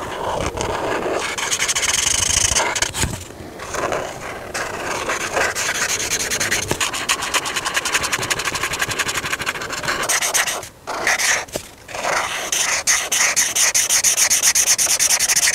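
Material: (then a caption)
Paper. A hand colors a whale drawing on a thin paper coloring book page lying flat on a table, rubbing and scratching the surface with the felt tip of an alcohol marker. The result is a continuous, bright, raspy scratching of rapid back-and-forth strokes, with brief quiet pauses around 3 seconds and again near 11 and 12 seconds.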